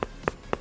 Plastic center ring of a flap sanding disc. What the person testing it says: Saat kita mengetuknya seperti ini, teman-teman, kita bisa tahu bahwa plastiknya sangat padat.